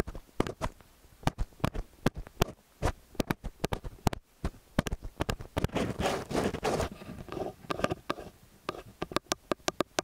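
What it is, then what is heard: Metal microphone capsules tapped and rubbed. Fingertips and nails tap and rub the metal housings of a pair of XY stereo microphone capsules, staying on the capsules throughout. Many sharp, close-up taps with a low thump land in an irregular rhythm, broken by a stretch of continuous scratchy rubbing in the middle before the quick tapping resumes.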